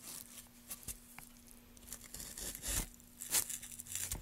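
A small gouge carves grooves along the grain of a solid pale softwood board held in a gloved hand, scraping and cutting away shavings. Bright, dry scraping and tearing strokes come in uneven bursts, with some louder, crunchier cuts, over a faint steady low hum.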